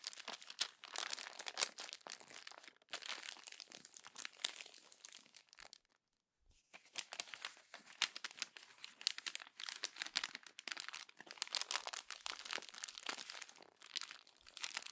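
Hands with long nails crumple the glossy pages of a paper magazine and press them into the gutter, making dense, bright crinkling and crackling bursts. The sound stops for a brief near-silent pause around the six-second mark, then the busy crinkling resumes for the rest of the clip.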